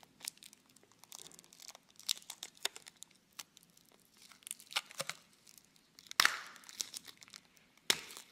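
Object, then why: Plastic tub filled with foam-bead slime. A small clear plastic tub with a label, full of red floam (foam-bead slime), is held close and squeezed and rubbed by fingertips. The plastic gives off dry, bright crinkling and crackling in many quick, short bursts, with two sharper, louder crunches near the end.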